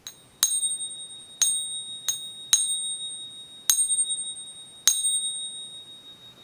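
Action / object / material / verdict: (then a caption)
strike / 1 oz silver bullion coin / silver / real. A genuine 2023 1 oz silver eagle coin sitting in a coin pinger is struck six times with a wooden stick. Each tap gives a high, clear, bell-like ring that decays slowly, confirming the coin is real silver.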